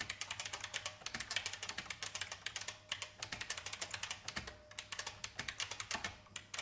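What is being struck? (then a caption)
Plastic mechanical keyboard. Fast fingertip typing with red-nailed fingers of both hands on a vintage beige plastic IBM mechanical keyboard with hollow plastic keycaps. A dense stream of bright, sharp clicks and clacks with very short decay, rising and falling in bursts, with almost no low end.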